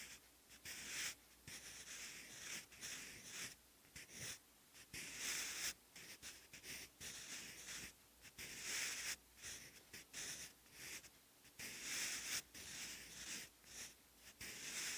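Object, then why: Graphite pencil on thick textured paper. A wooden graphite pencil, held in the fingers, writes characters on a thick, textured, lined page in a bound notebook. Bright, dry scratching strokes come in short bursts separated by brief pauses as each stroke is drawn across the paper.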